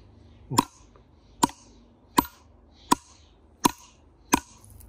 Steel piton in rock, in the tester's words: the hammer bounces off instead of moving